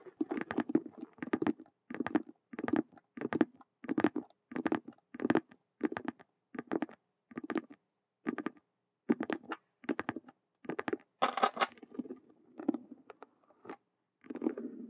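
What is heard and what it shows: Long nails on one hand tap and scratch quickly and hard across the stitched colored vinyl squares of a large, hollow faux-leather Rubik's cube handbag with a black body. Short, dry bursts of scratchy patter come in rapid clusters separated by brief pauses, with a warm low-mid body and almost no ring. A brighter, rougher scrape stands out near the eleventh second.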